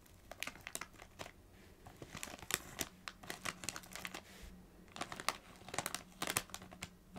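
A small Doritos bag made of metallised plastic film, apparently still holding chips and lying on a knit blanket, is scratched and tapped with long acrylic nails. Quick, bright crinkles and sharp taps come in irregular bursts over soft scratching, each click dying away almost instantly.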